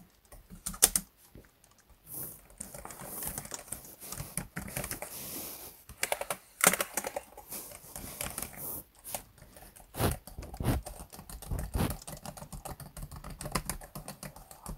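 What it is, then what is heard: Plastic laptop keyboard. Fingertips type and tap on the built-in black plastic keyboard of a laptop, whose solid keys sit on a hollow chassis. The result is a dense run of quick, dry clicks and soft thuds with bright edges, bursts of rapid typing between short pauses, and a few sharper louder taps.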